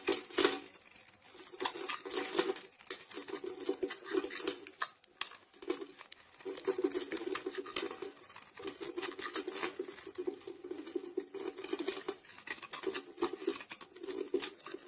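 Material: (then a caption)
Soap. A blade scrapes flakes off the surface of a solid, palm-sized, grey round soap bar stamped "Lavendel Bergamotte" that is held in the hand. Quiet, crisp, crackling scrapes come in bursts, each with a steady mid-range rasp and a bright, brittle texture above it. Short pauses separate the strokes.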